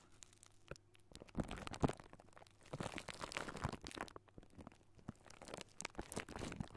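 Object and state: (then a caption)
Metal microphone mesh grille being scratched. Fingertips and short nails of both hands scratch a hollow silver wire-mesh metal microphone grille. The result is a quiet, dense run of crunchy, crinkling scratches in uneven bursts, with short, dry clicks that stop almost at once.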